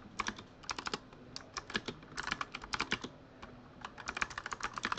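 Fingertips type quickly on a full-size Razer Huntsman mechanical keyboard with RGB-lit plastic keycaps. Around 25 sharp, bright clacks come in uneven bursts with short pauses between them. Each keystroke stops dead with almost no ring.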